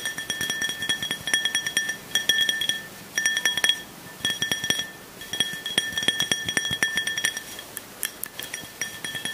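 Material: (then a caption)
Glass. A small, clear glass drinking tumbler, hollow and nearly empty with a little liquid at the bottom, is held up and tapped with fingertips and nails. Many quick, light taps come in bursts separated by brief pauses. Each tap gives a bright, clinking ring with a steady tone near 1.8 kHz and higher overtones that fades within about half a second.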